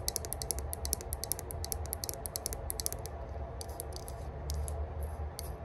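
Long burgundy nails scratch and tap rapidly across the flat top of a small, hollow rose-gold metal herb grinder whose lid is engraved "Spark." The taps are bright, dry clicks that stop almost instantly, over a steady low hum. They come in a dense run at first, then thin out into sparser taps and softer scratching.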